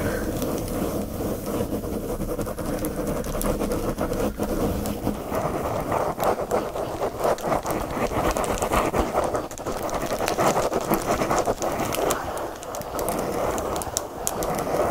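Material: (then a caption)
Plastic film. Fingernails scratch quickly across a flat pack of cotton watercolor paper in a black card and plastic sleeve. The result is a steady, dense, rasping scratch across the plastic-covered surface, with a crinkly midrange texture that continues with little pause for the whole clip.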